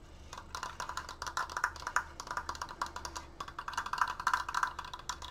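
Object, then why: Wooden triangular decoration. Fingertips tap quickly on a wooden Triforce decoration, making about 28 dry, hollow, wood-block-like knocks that die away almost instantly. The knocks have a bright click and a woody tone near 1 kHz, coming in uneven bursts over a faint low hum.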